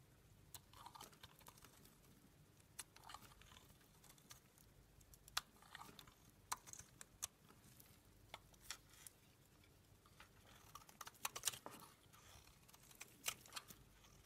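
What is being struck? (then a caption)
Bar of soap scraped with a small metal blade. A small metal blade scrapes along the edge of a solid white rectangular bar of dry soap, shaving off crumbly flakes. Soft, dry, crunchy scratches come in irregular bursts over a quiet background, bright and crisp with almost no low end and no ring after each stroke.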